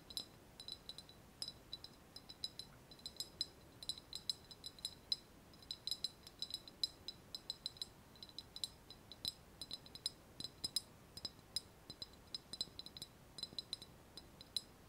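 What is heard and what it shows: A small, hollow, white glazed ceramic vase with a wavy relief surface is held in both hands and tapped with long nails. Dozens of quick, light taps come in uneven bursts, each a sharp, bright click with a high ceramic tink that dies away almost instantly. There is very little low end beneath a faint background hiss.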